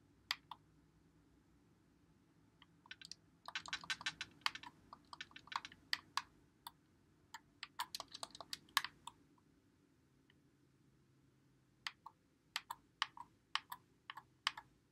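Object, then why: Plastic game controller. Fingertips press and click the buttons and thumbsticks of a white Xbox One controller with a hollow plastic body, held in both hands. Short, bright plastic clicks come in irregular bursts, crowding together in the middle before a quiet pause and then a scattered final run. Each click is crisp and dies away almost at once against a faint low hum.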